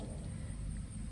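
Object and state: Nothing is struck.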